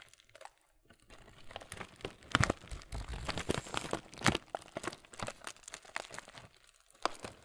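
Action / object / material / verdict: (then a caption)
scrape / laminated plastic cereal bag / plastic / none. A full, printed laminated plastic Kellogg's muesli bag is rubbed and squeezed by hand on the front and back. Dense crinkling and crunching pops come in irregular bursts, with sharper crackles around the middle and a quieter stretch before one last crinkle near the end.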